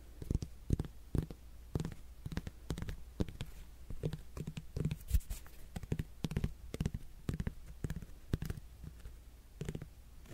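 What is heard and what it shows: Fingernails scratch and tap the rind of a whole, solid netted melon held close to the microphone. Irregular soft, dull taps with a low body around 90 Hz die away almost instantly, over a faint, bright scratchy rasp from the textured rind.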